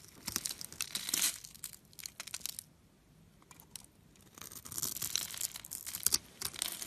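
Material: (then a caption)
Soap. A solid blue and white striped bar of soap, scored in a grid and held in the fingers, is carved and scraped with a metal blade so cubes crumble off. Bright, dry crackling and crunchy scraping come in dense bursts, pause for a quiet stretch in the middle, then resume with sharp snapping crumbles.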